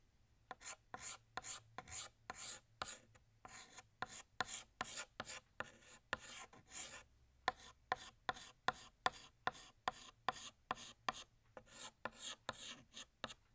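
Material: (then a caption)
Chalk. A blue chalk stick held in the fingertips draws the outline of a glass on a large, flat, solid black chalkboard. About 28 short, separate scratching strokes rasp across the board, each a dry, bright burst with almost no low end.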